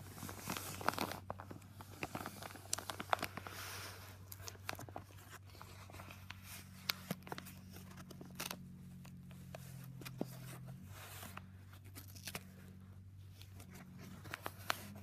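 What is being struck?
Padded paper mailer.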